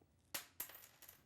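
A button from a lady's coat is dropped onto the floor to compare its sound with a dropped penny. It lands with three bright, sharp clicks as it bounces, then quickly goes quiet. This button is the probable explanation for the sound that was heard earlier.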